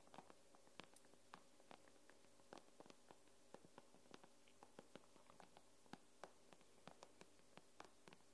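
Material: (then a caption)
Glass. Long nails tap the glass screen of an iPad in a quick, irregular run of many light taps. Each tap is a short, crisp click that dies away almost instantly, over a quiet, steady low hum.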